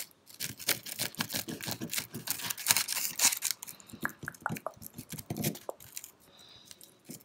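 Fingertips and nails tap and scratch a tiny, solid pale-pink plastic pig figurine and the gritty concrete ground around it. Dense, bright scratching mixes with short, crisp clicks that stop almost instantly. The scratching thins after the midpoint into sparser, separate taps, then fades to a quieter rasp near the end.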